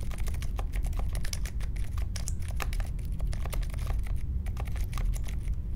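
Fingertips type steadily on the plastic keycaps of a compact Polaris mechanical keyboard with a metal case and Silent Alpaca switches, resting on a marble desk. A fast run of soft, muted taps with brief bright ticks rides over a constant low rumble.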